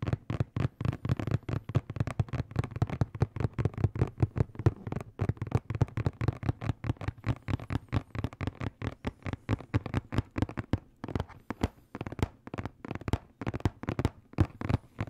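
A hollow blue and black printed cardboard box, held in both hands, is tapped rapidly with fingertips and nails, about 66 taps over 15 seconds. Each tap gives a dull, low, hollow thud with a faint bright click and almost no ring, in quick uneven bursts with brief pauses.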